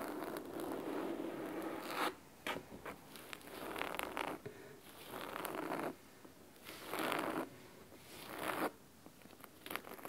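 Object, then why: Fabric-covered hardcover book. Fingernails scratch the cloth spine and top edge of a large, thick, solid hardcover book covered in red fabric. It makes crisp, raspy, zipper-like strokes in bursts of a second or two, with brief pauses between. The scratching has a bright, dry texture and little low-end weight.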